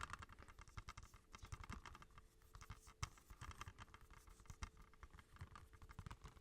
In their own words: Tapping on movie cases !!